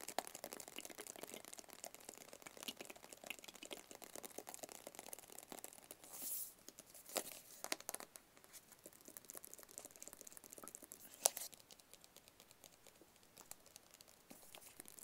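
Fast fingertips tap and scratch on a small, hollow, white rigid cardboard product box. The result is a quiet, dense stream of crisp, bright clicks and dry scraping with almost no low end. A few louder rustling bursts and one sharp tap stand out near the middle.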